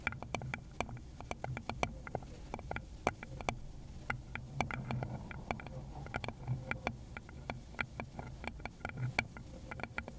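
A small, rounded, likely hollow wooden bowl is tapped with long pointed nails on a gloved hand. The result is a steady run of quick, irregular, dry clicks with a bright edge, over a faint low rumble.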